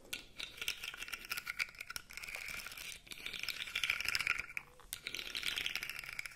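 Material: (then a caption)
Plastic. A blue segmented plastic articulated fidget toy is flexed and rubbed with the fingers so its segments rattle and click. A dense, quiet stream of rapid, short clicks and rattling fills the clip, bright and high with almost no low end, swelling and easing in a few waves.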